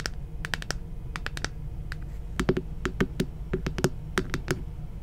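A hollow plastic moon lamp about the size of a head, glowing red-pink, is held in one hand and tapped and scratched with long painted fingernails. Dry, clicky taps come in an uneven rapid series, each with a bright tip and a short hollow knock in the mid-low range that dies away almost at once. A steady low rumble sits underneath throughout.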